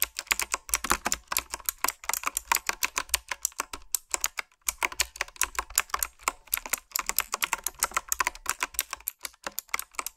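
Fingertips and long nails type on a retro, typewriter-style mechanical keyboard with round, backlit plastic keycaps. Rapid, bright clicky keystrokes patter steadily for about ten seconds, with a brief pause midway. Each click is crisp and short, with little low end.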